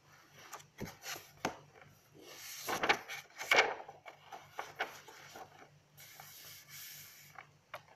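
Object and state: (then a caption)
Paper notebook being scratched and rubbed. Long acrylic nails and fingertips rub and scratch across the lined pages of an open, spiral-bound paper notebook with a blue cover lying on a table, and handle its cover. Soft, bright papery rustling and scraping come in irregular bursts, punctuated by short sharp clicks and taps.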